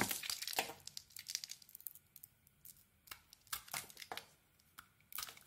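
A solid dark green soap bar with teal dots and a white interior is held in the hand and carved with a small metal blade. Crisp, bright scraping and crumbling cuts come in irregular bursts, with brief quiet gaps between strokes and little low end.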